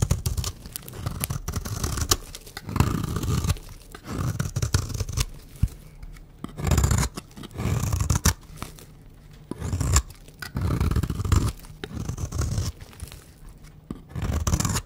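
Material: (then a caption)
Soap. A peach rectangular solid bar of dry soap, held in the hand, is shaved with a utility knife blade and scissors, peeling off curls of soap. Repeated dry, rasping scrapes and tearing cuts come in bursts separated by short quiet pauses, with most of the energy low and a faint bright crackle on top.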